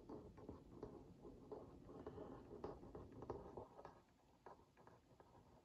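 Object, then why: Cardboard cookie box. A wooden skewer tip traces over the lower printed area of a hollow Oreo Mini cardboard box held in one hand, scratching and lightly tapping it. The result is a quiet, irregular patter of soft, dull scrapes and taps, centered in the low midrange with short, papery decays.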